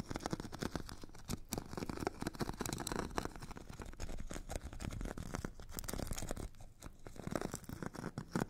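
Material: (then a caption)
Abrasive grit. A metal stick tip scratches and taps the purple abrasive grit layer of a solid, hand-held foot file with a white foam core. It makes a steady, dense rasping scratch broken by many quick, dry taps. The sound is weighted toward the low end with no ring after each contact.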